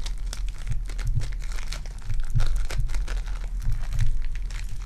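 A small lump of purple foam-bead clay is squeezed and pinched between fingertips. It gives off a dense, bright crackle of tiny crinkling pops over a steady low hum, swelling and easing as the clay is worked.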